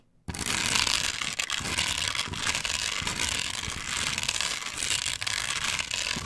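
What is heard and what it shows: A flat plastic chevron stencil glued onto a wooden board, solid in place, is scratched quickly across its textured cut-outs by long pointed nails. A dense, continuous bright scratching rasp sets in after a brief silence and carries on steadily to the end with no clear breaks between strokes.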